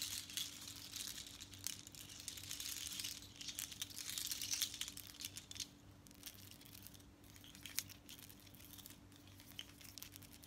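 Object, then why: Seashell and bead necklace. Long nails tap and scratch a seashell bead necklace, long strands of small natural seashells with colored beads, worn and lifted. The shells rattle together in a fast, uneven stream of light, crisp clicks and crinkly scratches, mostly high-pitched and hissy, over a faint steady hum.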